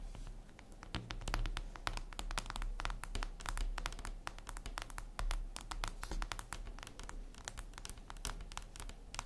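Long acrylic nails tap and scratch across a flat, solid, reflective glass mirror tabletop surface. Dense, rapid, sharp clicks with a bright edge die away almost instantly, mixed with brief scratching strokes over a steady low hum.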